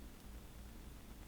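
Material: Nothing is struck.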